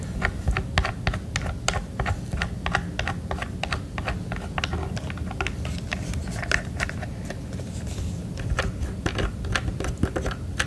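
Fingertips and nails tap quickly on the back and handle of a red and black plastic emergency radio. The result is a steady stream of light, short, dry clicks over a low background rumble.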